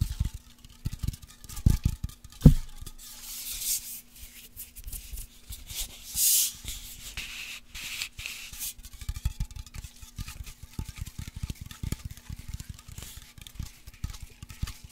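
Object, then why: Metal aerosol can. A white labeled metal aerosol spray can, held horizontally, is rubbed and tapped with fingertips and nails. Quiet scratchy rubbing runs under many soft, dull taps, with a few louder knocks and brief airy hissing swells. A faint steady hum sits beneath throughout.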